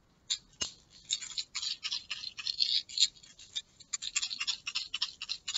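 A small plastic pill bottle with a yellow label and white cap is held in a fist, fingertips gripping it, and shaken so the pills rattle inside. Quick, irregular bursts of bright, dry rattling follow one another with almost no low end, plus one sharp click early on.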